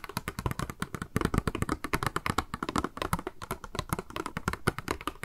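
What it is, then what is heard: Hollow clear plastic cube box. Long manicured nails rapidly tap and scratch a small, hollow, clear pink plastic cube box with a pink makeup sponge inside, held in the hands. The result is a fast, dense stream of dry, clicky taps with a hollow low thump underneath and very short decay, interspersed with soft scratching.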